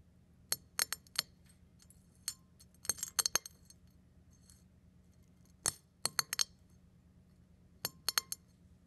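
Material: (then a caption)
Eggshell. A fingertip presses down on small brown and white eggshell fragments on a ceramic plate, crushing them into smaller bits. Sharp, bright, glassy crackles and clinks come in quick clusters, each dying away almost instantly. A faint low hum sits underneath.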